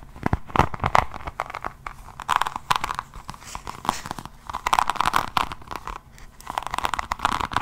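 Long nails scratch and tap across the cover of an A5-size hardcover notebook, held in both hands, whose cover is set with raised resin rhinestone diamond-painting beads. The result is a steady run of dry, crunchy clicks and crinkly scratching with a midrange tone near 1 kHz, coming in uneven bursts with a few sharper taps.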